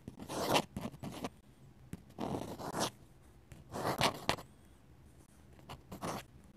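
A steel dip pen nib scratches flowing ink strokes across a flat paper sketchbook page. Short bursts of dry, bright scratching come and go, separated by quiet pauses between strokes.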